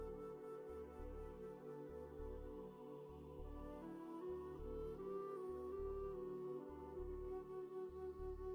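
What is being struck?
Nothing is struck.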